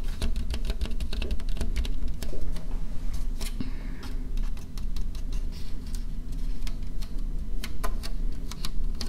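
A medium white plastic bowl, hollow and empty, is held in the hands near the microphone and tapped rapidly with long painted fingernails. The result is a quick, irregular stream of short, dry, bright clicks over a steady low rumble.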